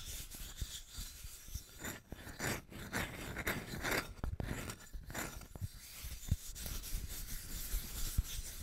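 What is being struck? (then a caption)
Small flat wooden plaque. Fingernails scratch and rub across the face and edges of a small, flat, solid brown wooden plaque with white painted lettering, held close to the mic. The sound is a soft, continuous dry rasping with brighter scraping swells and scattered sharp little ticks over a low rumble.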